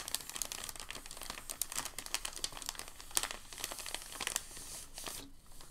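Fingers fold and crease a thin sheet of packing paper along an edge, producing a steady run of dry, bright crinkling with many quick crackles. Sharper crunches stand out now and then before the rustling thins out near the end.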